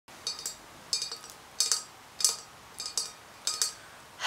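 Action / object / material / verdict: tap / stemmed glass wine glass, partly filled / glass / none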